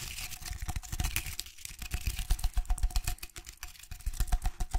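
A tall vase wrapped in rough jute twine and holding artificial flowers is held in one hand while fingertips and nails scratch across the twine. The result is a quick, uneven run of dry, crackly scratches with a soft low thud under each stroke and a brighter rasp on top.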